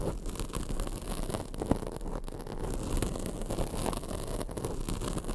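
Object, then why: Foam microphone windscreen. Long acrylic nails scratch across a black foam microphone windscreen. The result is a steady, dense, low-heavy rustling and scraping with a few brief louder pops.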